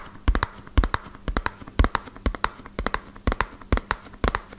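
Fingertips rapidly tap the faces of a small, hollow, white-and-purple printed cardboard medicine box. About 22 short, dull, hollow thuds land mostly in quick bursts of two or three, with a low, boomy body and almost no ring. A faint steady hum runs underneath.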